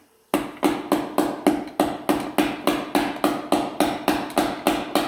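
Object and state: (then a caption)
Fully seated transmission piston. A hammer strikes a long screwdriver to gently tap the metal low reverse piston of a 4L60E transmission down, working around the circle. Seventeen sharp, evenly spaced metallic taps, each with a brief ringing tone, come about three or four per second. The piston hits home and is fully seated.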